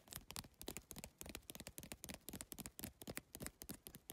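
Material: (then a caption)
Plastic. Fingertips and nails tap rapidly on the plastic tiles and edge of a holographic geometric PVC-tile handbag. The result is a quick, uneven run of dry clicks and taps with a bright edge, each stopping almost instantly.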